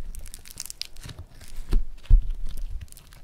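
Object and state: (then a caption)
Foam-bead clay being squeezed and torn. A lump of yellow floam foam-bead clay is squeezed and torn open with the fingers of both hands. Dense crackling and crinkling pops run throughout, over soft low thuds that peak in two stronger bursts near the middle of the clip.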